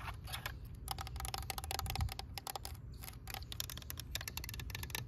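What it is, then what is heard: Plastic toy tractor. Long nails tap and scratch the hood and the orange part of a green, hollow plastic toy tractor with rubber-look wheels. A rapid run of short, bright clicks and scrapes sits over a steady low hum, and each tap dies away almost at once.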